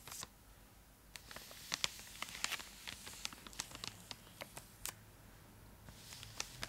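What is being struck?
Foil-lined plastic chocolate bar wrapper.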